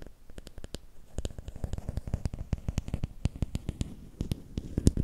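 Fingertips and nails tap and scratch a long, thin, solid bamboo or wooden stick held horizontally in both hands. A quick, uneven run of dozens of short, dry taps with a low, dull body and almost no ring, mixed with faint scratching. The taps grow somewhat louder toward the end.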